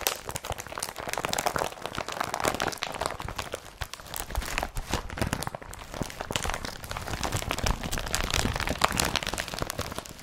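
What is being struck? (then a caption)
Woven polypropylene carrier bag. An empty blue IKEA BRATTBY carrier bag made of woven polypropylene is crumpled and gripped with fingertips and nails. The result is a steady stream of dense, crisp crinkling and crackling, with sharp bright snaps over a soft low rustle for the whole clip.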